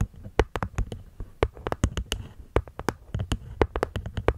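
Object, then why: Small wooden box with cork lid. Long nails tap and scratch the cork lid of a small, hollow, hexagonal light-wood box, about twenty quick, dry taps in an uneven rhythm. Each tap is a short, soft, low thud with a bright clicky edge and almost no ring, and faint scratchy rustles fill the gaps between them.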